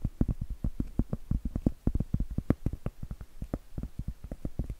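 Blue acrylic nails tap and scratch the flat face of a round, solid cork trivet. The result is a quick, uneven run of short, dull, low thuds that stop almost instantly, with faint scratching between them and little brightness.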